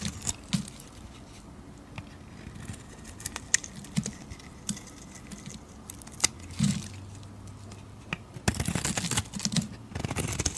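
A metal blade scrapes across the surface and edges of a solid blue bar of soap, making soft scratchy scrapes and sharp, bright clicks over a quiet background. Near the end, the scraping becomes a denser, rougher burst.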